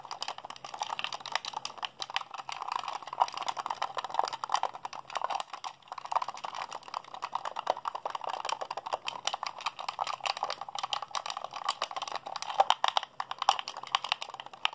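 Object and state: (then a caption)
Plastic game controller buttons being mashed. A hollow white plastic Xbox handheld controller is held in both hands while fingertips and thumbs rapidly mash its buttons. A dense, steady stream of quick, dry plastic clicks and rattles with bright tips runs for about 15 seconds, centered in the midrange with no low end and no ring after each press.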